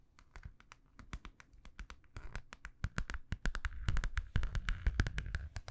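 A small, hollow, holographic metallic vinyl zippered pouch, held in both hands, is tapped rapidly with long nails. The taps are quick, dry clicks over a dull low thump, with no ring. They come in uneven flurries that grow louder and denser toward the end.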